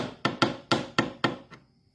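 Five sharp, short taps and a fainter sixth on the metal inner hub of a Lymow One robot mower's rear drive wheel give a dull, plastic-like knock with a brief ring. Though the taps sound like plastic, the hub is confirmed to be metal, so the screw seats on metal.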